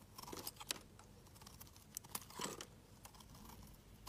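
A metal utility knife blade shaves curls off a solid, palm-sized pink bar of soap held in the hand. Quiet, crisp scraping and crunching strokes come in quick bursts, with bright, brittle detail over a faint low hiss.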